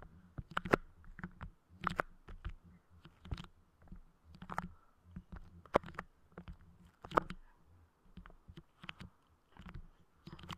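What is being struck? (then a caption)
Clear soft putty over a microphone grille. Fingers press, pull and tap with their fingertips at clear, soft putty clay spread over a Blue Yeti microphone grille. The result is quiet, irregular bursts of muffled low thumps and sticky squelching crackles, with a few sharp bright clicks.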